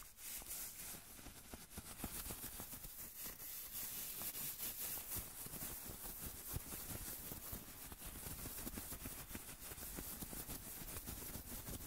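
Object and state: Nothing is struck.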